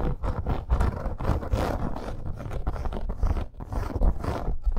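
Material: Faux leather.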